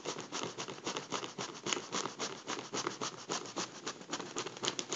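A makeup brush rubs and taps the crinkled foil of a deflated gold mylar foil balloon held in a hand. The result is a quiet, rapid run of crisp, bright crinkling and scratchy patter, pulsing at a few strokes per second with almost no low end.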